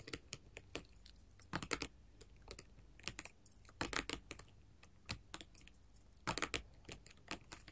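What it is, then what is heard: Glass mosaic tile sheet. Long gold metal filigree finger claws scratch and tap across a flat sheet of colored glass mosaic tiles. Quick, bright clicks arrive in irregular bursts and clusters, with faint scratchy rustling between them. Each tap stops almost instantly, leaving little ring.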